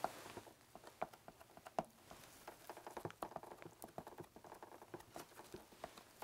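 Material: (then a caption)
Plastic. Fingertips tap and scratch the ridged casing of a black, hollow plastic video game console. Quiet, quick, dry taps and scratchy rustles patter unevenly across the clip, with a hollow mid-toned click near 670 Hz on the sharper hits.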